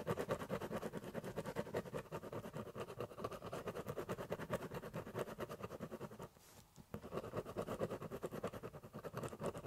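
A biro pen scratches back and forth over the surface of a large, empty, hollow corrugated cardboard box, shading in a drawing. Rapid, steady strokes make a dense, papery scratching with a dull, boxy resonance. The strokes stop for a brief near-silence just past the six-second mark, then resume.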